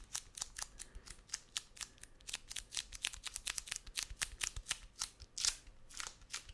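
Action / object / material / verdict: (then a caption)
tap / roll of brown kraft paper packing tape on a cardboard core / kraft paper / none. A wide roll of brown kraft paper packing tape with a cardboard core is held in one hand and tapped and scratched on its outer surface with fingertips and nails. It makes a rapid, uneven series of sharp, dry, bright clicks and scratchy rasps that die away almost at once, with very little low end.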